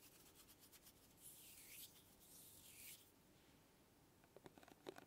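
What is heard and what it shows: A small, flat, closed printed cardboard box of kinetic sand is held up, then laid flat and tapped and scratched with long glittery acrylic nails. Two long, bright scraping sweeps are heard, followed by a cluster of sharp, quick taps near the end.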